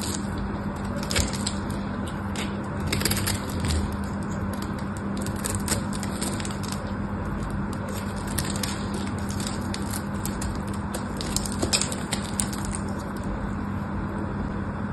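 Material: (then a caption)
Soap. A small dark knife blade scrapes and shaves the surface of a solid, palm-sized rectangular pink bar of soap held in one hand, and the shavings fall onto a pile of soap flakes below. The sound is a steady, dense crackling scrape with a low hum underneath and sharp, bright crackles scattered throughout.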